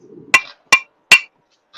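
A big, thick glass bong is tapped three times, giving short, dull, bright clinks that die away almost at once with no ring. The thick glass sounds the way a sturdy bong should, unlike the ringing of a thinner one.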